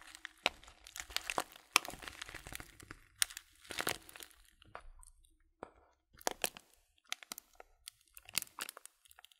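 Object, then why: Filled paper tea bag. Fingertips crinkle the rolled, folded top of a small, filled, white printed paper bag of tea and squeeze its sides. The result is quiet, dry, bright crinkling and crunching in short, irregular bursts separated by brief silences, with almost no low end and no ring after each crackle.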